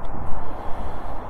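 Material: Nothing is struck.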